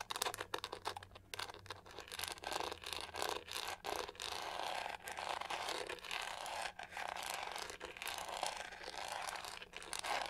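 Long nails scratch aggressively across the pink studded back of a hollow plastic hair brush. The result is a dense, bright, rasping scrape in rapid bursts separated by brief pauses, with almost no low end.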